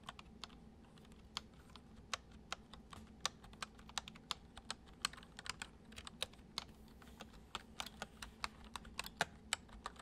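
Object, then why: Plastic computer keyboard. Fingertips type on a full-size white plastic computer keyboard resting on a wooden desk. About 36 short, bright key clicks land at an irregular, gentle pace and die away almost instantly. They sit over a quiet, steady low hum.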